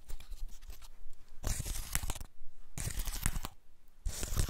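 A large, elongated dry woody pine cone with open scales is held in the hands while fingertips and nails scratch and flick the scales. Quiet, dry crackling and tearing scratches come in three louder bursts, bright and crisp above a soft low rustle.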